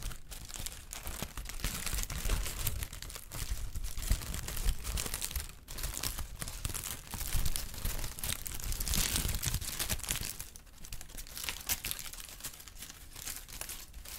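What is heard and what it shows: Brown kraft honeycomb packing paper is stretched and crinkled with fingers, producing a continuous stream of dense, dry crackles and rustles. The crinkling swells and fades in waves, with bright papery detail over a soft low rumble and brief quieter pauses near 5.5 and 10.5 seconds.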